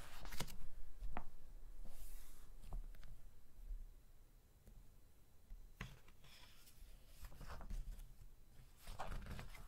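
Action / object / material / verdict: scrape / glossy paper magazine / coated paper / none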